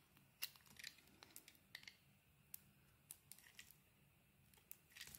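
A metal blade cuts flakes off a solid cream and grey-blue oval soap bar and peels its coating. The result is a quiet series of short, crisp, bright scraping clicks and crackles with very little low end, each dying away almost at once.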